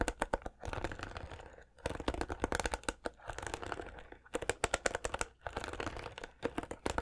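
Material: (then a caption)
Plastic. Fingertips and nails scratch and strum the plastic bristles of a white plastic paddle hairbrush. The result is dense bursts of rapid, dry ticking and crackling clicks, broken by a few brief pauses. Each click is short and snappy, with a bright, brittle edge.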